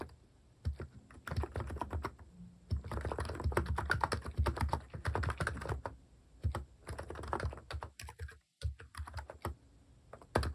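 Fingertips type steadily on a compact electro-capacitive keyboard with plastic cat-shaped keycaps resting on a wooden desk. Rapid, soft, muted clacks with a deep low-end thock and very short decay run in dense bursts, with a brief pause near the end before typing resumes.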